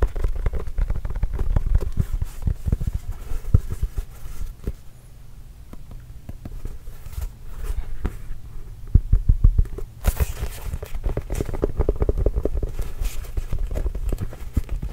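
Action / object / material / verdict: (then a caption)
tap / inflated leather basketball / leather / none. A hollow, inflated Spalding Trail Blazers autographed leather basketball is held and tapped with the fingertips, producing rapid, soft, deep thuds in a dense patter. The taps are short and dull with almost no ring. They grow quieter and sparser in the middle before picking up again, with a brief brighter scuff around ten seconds.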